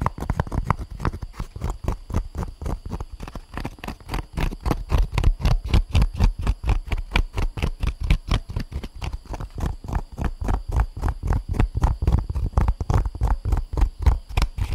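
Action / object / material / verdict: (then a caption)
tap / molded paper pulp egg carton / paper pulp / none. An empty molded paper pulp egg tray is held up and tapped and scratched with long nails. About sixty rapid, soft, dull taps come at roughly four per second in an uneven rhythm. Each tap is a short, low thud that dies away almost at once.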